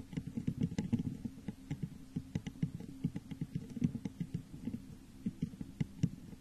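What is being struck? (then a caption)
Textured glass vase. Long nails and fingertips tap rapidly on the sides of a medium-sized, hollow, textured clear glass vase turned upside down over a microphone. The result is a quick, irregular patter of short, hollow, low thuds that stop almost at once, with faint bright clicks from the nails.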